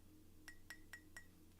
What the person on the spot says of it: I can tap on my teacup and know it's ceramic.